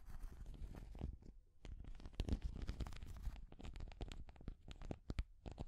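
Long grey nails scratch and tap a small hand-held orange and green translucent plastic cat figure with a textured surface. A quiet, continuous run of crackling scratches and sharp little clicks plays over a soft, low rumbling undertone, pausing briefly before picking back up.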